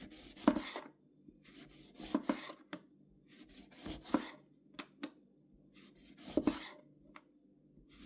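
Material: Lemon.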